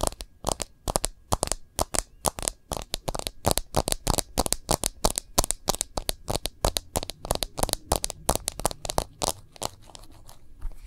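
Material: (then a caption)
Glass, plastic. An iPhone with a light glass back and a thin orange-brown case rim, a small, solid device held in both hands, is tapped and scratched on its back and edges with long glossy nails and fingertips. A quick, steady run of dozens of sharp, dry clicks and crackly taps follows, each dying almost instantly with a bright edge. Toward the end the taps blur into softer scratching.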